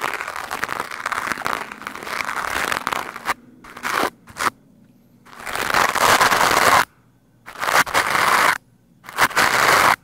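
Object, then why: Foam microphone windscreen. The bristles of a green plastic hand brush scrub fast and hard against a black foam microphone windscreen. Dense, crackly scratching rushes through bright, hissy highs and a strong midrange around 1 kHz. A long opening run breaks into shorter bursts separated by near-silent pauses.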